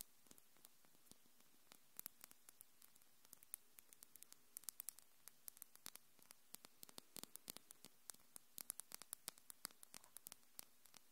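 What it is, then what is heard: Acrylic nail tips tapped together. Long, hard, thin pink acrylic nails with purple glitter tips are tapped and clicked against each other by both hands above a Tascam recorder that is not touched. Dozens of rapid, very short, bright clicks land in irregular bursts over a steady faint static hiss and a low hum.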